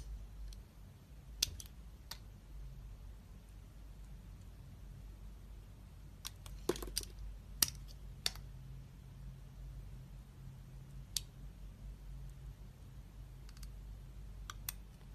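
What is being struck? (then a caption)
Glycerin soap bar shaved with a knife blade. A utility knife blade shaves thin slices from a solid, embossed, red translucent glycerin soap bar. Twelve short, crisp, bright clicks and snaps are heard scattered across the clip, each dying away almost instantly. A steady low hum runs quietly underneath.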